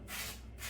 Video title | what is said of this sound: Lavivid Zeo Mirage - My First Poly Hairpiece with Knots | sounds like plastic a plastic bag that is because I have not shaved underneath the hairpiece